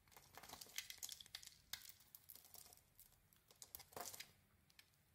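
A solid soap bar with a white core and a dark red and white textured surface is held in the hand and carved into chips with a metal blade. Quick, bright, crinkly scrapes and flaking crackles follow one another in uneven bursts, each dying away almost at once. The sound has very little low end.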